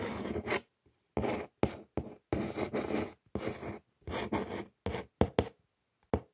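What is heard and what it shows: Long nail tips trace and scratch across the printed words on the brown corrugated cardboard surface of a shoe box. The result is a series of short, dry, rasping scrape strokes, separated by brief silences. Each stroke spans a broad range from a low, gritty texture up to a bright scratchy edge.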